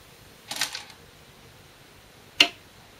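Glass go stones (Korean, size 36, 10.2 mm) are placed normally, not slammed, on a 2-inch shinkaya wood floor go board while a professional game is replayed. A brief cluster of soft, bright clicks is followed by a single sharper, crisper click. Each click is high-pitched and dies away almost at once.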